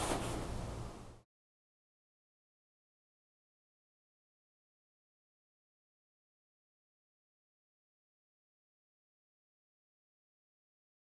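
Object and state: Nothing is struck.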